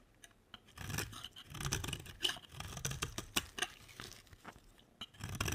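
A utility knife blade scrapes curls off the edge of a solid orange, dry bar of soap. Short, crisp scraping strokes come in quick, uneven bursts, each a bright, gritty rasp with a soft low rustle underneath. The strokes stop dead between passes, with no ring.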